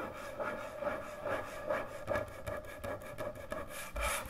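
Long nails scratch and rub slowly across a large, thick, solid end-grain hardwood butcher block cutting board. Repeated dry, raspy strokes swell and fade at an uneven pace, about two per second, each with a steady mid-range tonal band near 600 Hz and a brief airy top. The strokes stay soft and close with no lingering ring.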